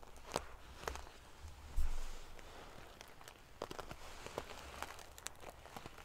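Long painted fingernails scratch and ruffle a large decorative pillow covered in rows of small silver metal sequins sewn onto fabric. The sound is a quiet, steady rustling hiss full of sharp, bright clicks and crinkles from the metal pieces, with a soft low thump near the middle.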